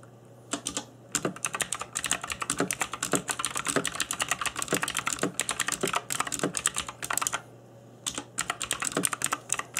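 Fingertips in black nitrile gloves type on a cheap RGB-backlit mechanical keyboard with plastic keycaps. They make rapid, bright, clicky key taps with very short decay over a faint low hum. The typing runs in fast bursts, with brief pauses near the start and again around the eight-second mark.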